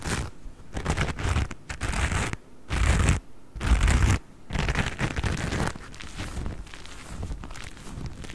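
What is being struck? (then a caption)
Cellulose kitchen sponge with scouring pad. A hand-sized, porous yellow cellulose kitchen sponge with a green scouring pad is held close to the microphone and scratched and squeezed with fingertips and nails. The result is bursts of dry, crinkly scratching and crackling rustle, heavy in low-end thump with only faint bright texture. Louder squeezes around the middle give way to softer, steadier scratching toward the end.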